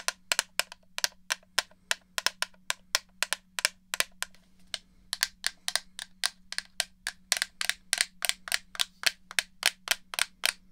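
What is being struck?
Plastic game controller shell.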